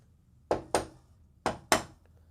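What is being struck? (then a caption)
Metal wall panel. Four knocks on a metal wall panel finished to look like wood, heard as two quick pairs of short, bright raps centered around 640 Hz. Each knock dies away almost at once with little ring.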